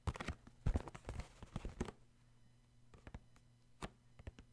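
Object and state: Cardboard tissue box.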